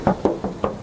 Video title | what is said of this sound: REVIEW HONDA WRV 1.5 RS MATIC 2023- KONDISI ISTIMEWA | Tuh masih kedengeran banget kalengnya.